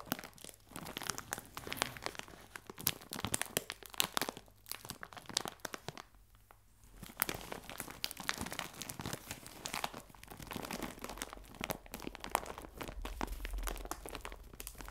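A clear plastic bag full of biscuits is held upright and squeezed with both hands, giving dense, bright crinkling and crunching that continues almost nonstop. The crinkling drops to a brief near-silence around the middle before resuming just as busily.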